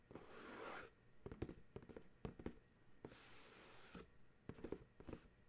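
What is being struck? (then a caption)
Paperboard dryer sheets box. A paperboard dryer sheets box is held in one hand while the other hand's fingertips and nails tap and scratch its printed top and edge. Soft, bright scratching passes alternate with clusters of sharp, dry taps that die away almost instantly.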